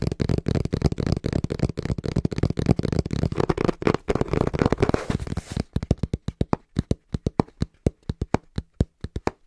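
Fingertips tap fast on the printed face of a small, hollow brown cardboard box held in both hands. For about the first five and a half seconds the taps come in a dense, rapid flurry of dull, hollow thuds. The tapping then slows to a steady run of separate, short, low knocks with almost no ring.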